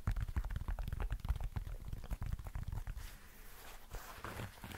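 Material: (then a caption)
Foam, synthetic. Fingertips tap the synthetic upper and chunky foam midsole of a hollow, empty black and white running shoe held close to the mic. A quick, uneven run of soft, dull, low thumps dies away almost instantly. After about three seconds the taps turn quieter and a faint bright rustle comes through.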